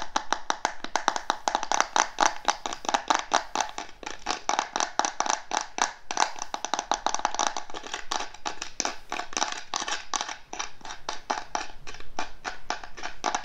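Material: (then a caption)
Wood. Fingertips and nails tap rapidly and continuously on the lid of a small, hollow, carved wooden box with a brass decorative inlay, held in the lap. The dry, short knocks land around the inlay with a woody ring centered near 850 Hz and a brighter clicky edge from the nails.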